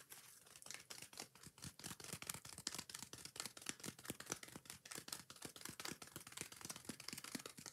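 Long nails scratch quickly across the green scouring pad of a yellow foam kitchen sponge held in one hand. The result is a fast, steady run of short, bright, raspy scrapes with a crisp, high hiss and very little low end.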